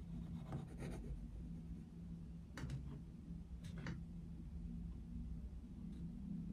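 A dark wooden coloured pencil is rubbed across a paper colouring book page with a Mickey Mouse picture in steady shading strokes. Soft, scratchy bursts of pencil-on-paper rasping come and go over a constant low hum. The strokes stay quiet and fairly even throughout.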